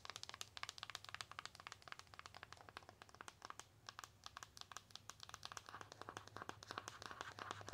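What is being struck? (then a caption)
Foil-coated cardboard eyeshadow palette. Long acrylic nails tap and scratch rapidly across the closed, flat rectangular eyeshadow palette, which has a foil-coated cardboard cover with silver metallic print. The result is a dense stream of short, dry, bright clicks mixed with crinkly scratching, over a faint steady low hum.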